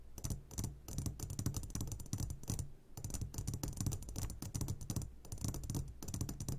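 Fingertips tap rapidly on the sides of an upside-down clear glass jar full of hard candies. The result is a dense, uneven stream of quick, soft taps with a low, thudding body and bright, clicky edges. Each tap dies away almost at once.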